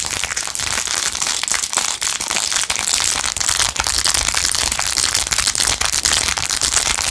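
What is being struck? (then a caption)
Rhinestone-covered plastic phone case. Long nails scratch quickly over the rhinestones of a blue-jeweled, rhinestone-covered plastic phone case. The sound is a dense, steady, bright crackle of rapid clicks and scrapes, with almost no low end.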